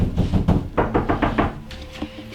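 A series of quick knocks on an interior wall between the front room and the kitchen of a brick rambler, tested to see whether it is a covered-up exterior wall. The knocks are dull, low thuds with a short decay, and a faint steady tone hums near the end. The wall sounds hollow.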